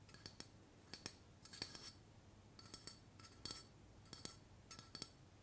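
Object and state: Aluminium aerosol can tapped with fingernails.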